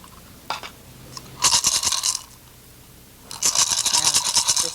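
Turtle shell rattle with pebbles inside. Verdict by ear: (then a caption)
Well filled. A turtle shell shaker with pebbles inside is held closed at the mouth and shaken in two bursts, giving a bright, dry rattling crunch of pebbles against the shell. After more pebbles were added, the sound is judged just right, and the mouth is then wired shut so no pebbles are lost.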